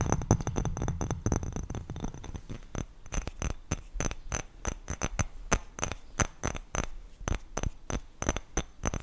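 An empty, hollow, clear greenish glass bowl is held up and tapped quickly with long nails on its rim and sides. Rapid, sharp clicking taps with a bright, glassy edge and very short ring come dense and irregular at first with a low thumping underneath, then settle into more spaced, distinct taps.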